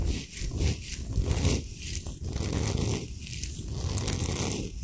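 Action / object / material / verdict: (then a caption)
scrape / rock salt block / rock salt / none. A large, solid, flat Himalayan salt slab is scratched and rubbed rapidly across its surface with fingernails. The result is a dense, gritty scraping and rustling with strong low rumble and bright, hissy texture, coming in uneven bursts throughout.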